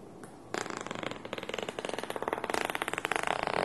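Fingertips and nails scratch and rub across the fabric top of a small black nylon pencil case with purple trim, which is hollow, filled with supplies and resting on a table, while one hand moves near the zipper pull at the end. After about half a second of near silence, a dense run of quick, rhythmic scratchy strokes begins. The strokes are dry and bright with little low end, and they grow slightly louder toward the end.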